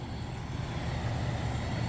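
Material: Nothing is struck.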